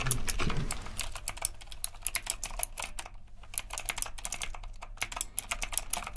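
Both hands type steadily with their fingertips on a retro typewriter-style mechanical keyboard with round plastic keycaps and a metal frame, resting on a dark desk. Quick, bright, sharp clicks patter at an uneven pace over a low, steady hum, with a brief lull near the middle before the typing picks back up.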